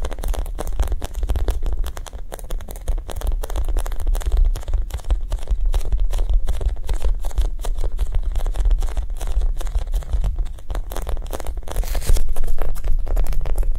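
A soft foam Japanese cheesecake squishy toy is tapped quickly and gently, producing a rapid, slightly irregular stream of dull, muffled taps with almost no ring. The sound is deep and thuddy, with little brightness, and holds steady throughout, growing slightly louder near the end.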